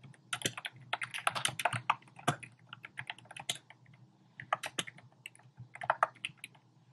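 Fingertips type rapidly on a compact black plastic typewriter-style keyboard with round plastic keycaps. Quick bursts of sharp, bright clicking taps die away almost instantly over a faint low hum. The flurries are broken by short pauses, the longest just before the four-second mark.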